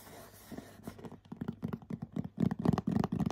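Short nails scratch and tap the glittery front of a medium printed cardboard bath set gift box. After a soft, steady hiss, a run of quick, dry, muffled taps and scratches follows, growing louder and denser toward the end, with little ring and mostly low body.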